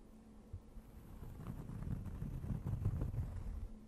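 Long nails scratch and tap on a thin, round, solid, flat cork board held close to the mic. The result is soft, dull, low rustling scratches with quick muffled taps that build in loudness through the middle and fade slightly at the end.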